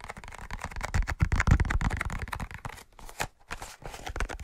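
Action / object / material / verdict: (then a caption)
tap / cardboard matchbox / cardboard / none. A large, closed, hollow cardboard matchbox with a red-orange label is tapped quickly with fingertips and short nails. The result is a fast, uneven patter of dull, hollow low thuds with faint crisp clicks that stop dead with no ring.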